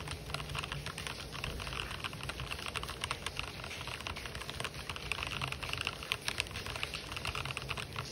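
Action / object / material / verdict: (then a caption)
tap / mechanical keyboard with plastic keycaps / plastic / none. Fingertips type fast on an RGB-backlit mechanical keyboard with white and black plastic keycaps. The result is a steady stream of rapid, bright plastic clacks with sharp, short decays, over a constant low rumble in the background.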